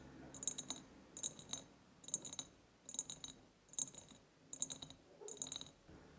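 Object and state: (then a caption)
Empty ribbed glass jar. Long painted nails tap and scratch the sides of a large, empty ribbed glass jar with a white ceramic lid. The sound comes as seven quick, quiet bursts of clustered clicking taps, each with a bright, high glassy ring that dies away almost at once. Soft scratching fills the gaps between the bursts.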